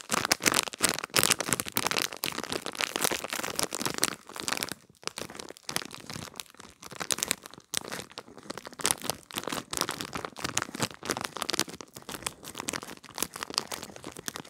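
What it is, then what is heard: Plastic packaging bag with gel bead pad. A small clear plastic package holding a gel-bead pad is crinkled and scratched with long red nails close up. Dense, bright crinkling and crackling runs throughout, louder in the first few seconds, with brief gaps near 5 and 7.7 seconds.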